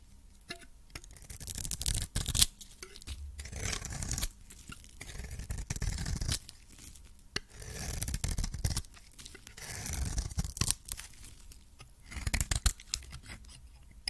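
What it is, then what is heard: Coated soap bar scraped with a blade. A metal blade scrapes the orange coating off a solid soap bar held in the hand, shaving off cream-colored soap. Dry, rasping scrapes come in repeated bursts, with occasional sharp clicks, bright gritty texture and a soft low rumble. Quiet pauses fall between the strokes.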